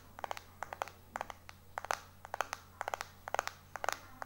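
Fingertips and short nails tap and scratch fast across the glass back of a small, solid white iPhone 4 held in one hand. About 21 sharp, dry clicks come in quick clusters, each ringing with a hard mid-pitched tick around 770 Hz and a bright edge. A faint steady low hum sits underneath.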